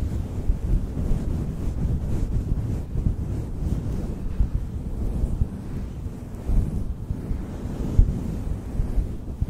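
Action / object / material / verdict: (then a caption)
scrape / synthetic fur microphone windscreen / synthetic fur / none. Fingertips rub and stroke a synthetic faux fur windscreen on a black microphone from both sides. The result is a steady, muffled, wind-like rumble concentrated in the low end, with no bright content and occasional slightly louder soft thumps.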